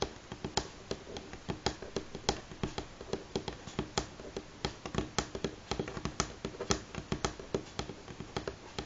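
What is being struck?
Wooden table top.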